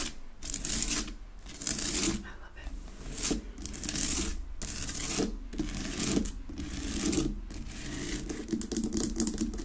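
Long nails tap and scratch rapidly across a large, solid pink rock-salt Himalayan salt lamp on a wooden base, unlit. Dense bursts of bright, gritty scraping alternate with short dry taps that stop almost instantly, over a steady low rumble.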